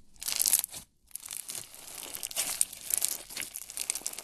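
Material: Slime, plastic beads.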